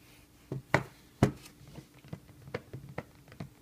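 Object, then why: Fabric-covered rigid cardboard box. Fingertips tap on the flat top of a closed, book-sized, rigid cardboard box set covered in blue suede-like fabric, held as it lies on a table. An irregular series of soft, dull, low-pitched taps comes through, each dying away almost instantly, with a few stronger ones early on and lighter ones after.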